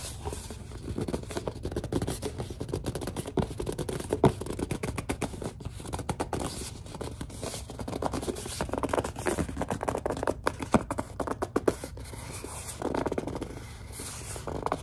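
Long dark nails scratch and grip a large white plastic Suave lotion bottle, producing a steady run of dry scratching and quick tapping clicks. Soft squeaks and rubbing sit in the low-mids throughout, with a dull low rumble underneath. The sounds are short and close, with almost no ring after each contact.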